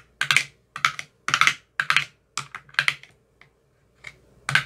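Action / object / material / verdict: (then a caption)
tap / plastic ice cube tray with silicone cups / plastic / none. A thin metal rod with a white tip taps the cells of an empty clear plastic ice cube tray with green silicone cell bottoms. The taps are quick, bright, dry clicks that come in short irregular clusters with brief pauses between them, and each dies away almost at once.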